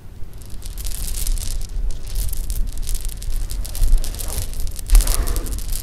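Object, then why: Handful of sugar-shelled jelly beans. A handful of small, solid sugar-shelled jelly beans is held in cupped hands, shaken and rubbed with fingertips, and dropped onto pink fabric. A dense, steady rustling patter of tiny bright clicks runs throughout over a low rumble, with a couple of louder clattering bursts near the end as the beans fall onto the cloth.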